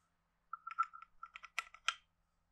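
A hand-sized, hollow carved wooden frog guiro with a ridged back is held in one hand and scraped and tapped along its ridges with a wooden stick. It makes a quiet, quick run of dry, hollow wooden clicks and short rasps with a woody tone around 1.4 kHz. The last strokes are brighter and more scratchy, and each sound dies away almost at once.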